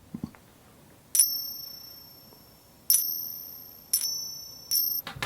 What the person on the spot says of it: this is going to be a little bit more distinctive because these are bigger